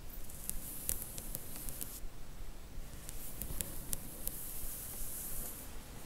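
Long nails lightly tap and scratch along a row of paperback book spines in a cardboard box set. Quiet, crisp clicks with bright, dry ticks come at an uneven pace over a soft scratchy rustle and a faint low rumble.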